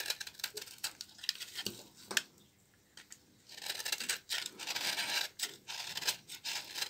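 A small knife blade scrapes along the fibrous edge of a solid, partly carved bar of dry, old laundry soap held in the hand, shaving off dry flakes. Crisp, bright scraping and flicking strokes come in quick bursts, pause briefly into near silence, then return as a denser, steadier rasp.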